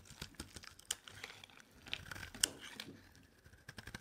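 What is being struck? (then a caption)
Bar of soap. A solid, hand-sized white bar of dry soap is held in the hand and scraped with a metal utility knife blade, shaving it into thick curls. Irregular, crisp scraping and crackling strokes come through bright and dry, with sharp flaky crunches that stop instantly and little low end.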